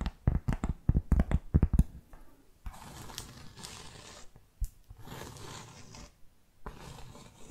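Long fake nails tap rapidly on a solid, round, flat cork board trivet, making a quick run of dull, low knocks. The nails then rub and scratch across the surface in several long, steady, hissing passes separated by brief pauses.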